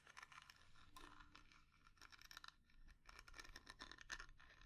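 Long nails scratch and tap across the surface of a small, round, dark lacquered wooden jar with inlaid flower dots, hollow inside, its lid closed. Dry, bright scratching rasps mix with quick, crisp taps that die away almost instantly over a faint low rumble.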